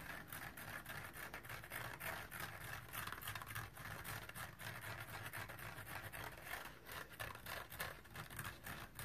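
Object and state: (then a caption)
Synthetic scouring pad sponge scratched with fingernails. Fingernails scratch the green nylon abrasive pad on top of a small, dry kitchen sponge with a soft, porous yellow polyurethane foam body. The result is a steady, rapid, uneven rasping scratch with a bright edge around 1.7 kHz and a faint low rumble underneath, continuing through the whole clip.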